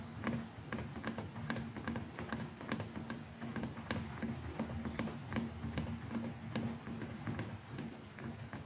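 Long nails and fingertips tap on the hollow, textured handle of a white plastic electric toothbrush, near the button and the neck. The taps come as quick, irregular, dry clicks with short ring, over a faint low steady tone.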